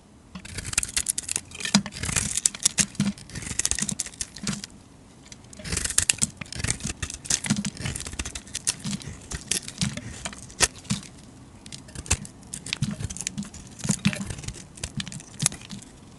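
A metal utility blade shaves a rectangular solid soap bar held in the hand, cutting through its grey, blue-glitter coating and olive-green core. Dense, crisp scraping and crackling cuts come in bright bursts with a soft low thump beneath. They ease into a brief quieter pause around five seconds before resuming in bursts to the end.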